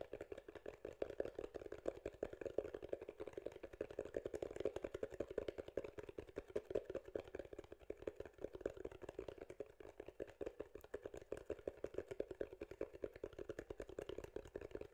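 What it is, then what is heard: Foam microphone windscreen. Fingertips tap and scratch a soft, porous grey foam windscreen over a microphone, cupped in both hands. The result is a dense, steady stream of quick, muffled taps and rustling scratches, centred in the low mids around 400–500 Hz, with very little bass or high content. Each tap dies away almost instantly.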